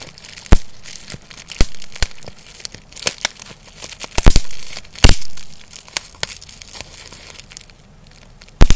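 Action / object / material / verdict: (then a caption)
scrape / plastic bubble wrap / plastic / none. A small clear sheet of plastic bubble wrap is held in both hands and crumpled, squeezed and popped with the fingers. Sharp, bright pops and snaps stand out over a steady crinkling rustle, with a few brief swelling crackles between them.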